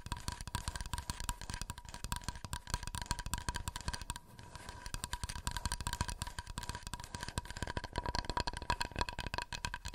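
Fingernails tap rapidly and continuously on a wooden plate, making dense, dry clicks with a faint steady tone near 960 Hz and a brief lull around four seconds. Each tap dies away almost at once, with most of the energy in low thuds.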